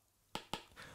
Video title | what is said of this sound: 【レビュー&比較】新型iPad vs. iPad Pro 10.5【遅延】 | このApplePencilでiPadにイラストなり文字なりを描いている時の音が大きいということです。